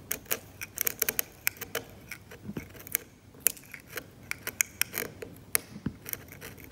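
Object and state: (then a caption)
Varnished oil painting scraped with a scalpel. A metal scalpel blade scrapes paint away from the grey ground of a glossy, cracked, varnished oil painting on canvas. Around twenty short, dry, bright scratching strokes and clicks come in an uneven rhythm over a quiet background, with almost no low end and no ring after each stroke.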